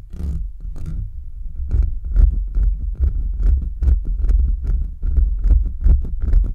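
Short nails and fingertips quickly scratch the bare, hollow metal mesh grille of a microphone. The result is a dense run of rough, boomy scraping with a heavy low rumble, cut through by brief bright ticks that repeat at an irregular, fast pace.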